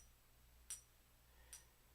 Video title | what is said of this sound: Journaling! - The Most Powerful Question You Can Ask Yourself! New Flex Pen! | it rings almost like a little bell